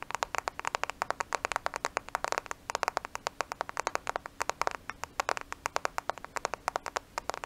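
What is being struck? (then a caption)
Smartphone with glass screen and plastic case. A black smartphone with a glass screen and plastic case, held in both hands at the microphone, is tapped rapidly with long nails. Dozens of sharp, dry clicks follow in quick irregular bursts, each cutting off at once with a bright, midrange-centered tone and almost no low end.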